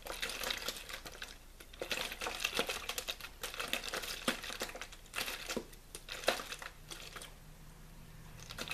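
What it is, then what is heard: Plastic water bottle being crinkled. A hollow, mostly empty clear plastic water bottle with a blue label is squeezed and crinkled by fingers. It makes dense, bright crackling crinkles in irregular bursts, with sharper snaps standing out. The crinkling thins out and grows quieter near the end.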